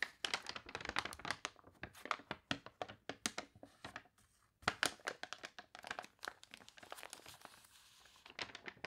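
A glossy paper toy catalog has its pages flipped and crinkled by hand while fingertips and nails rub across the open spread. Dense, bright crunchy crinkles and rustles come in quick bursts, with almost no low end and a brief quiet gap midway. Softer scratchy rubbing follows before a final flurry of crinkles.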